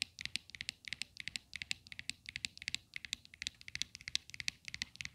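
Long clear acrylic nails tap and scratch the flat top of a white plastic square base of a desktop phone holder with a metal stem, resting on a glittery surface. The result is a quick, irregular flurry of dozens of sharp, dry, bright clicks with almost no ring and little low end, under a faint scratchy texture.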